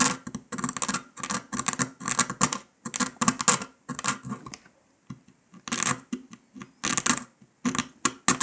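A metal needle scratches along the pressed line of a brittle brown dalgona honeycomb sugar candy disc resting on paper. Bursts of dry, bright scraping and crackling come and go with short pauses, with a near-silent gap midway. The needle is lifted near the end.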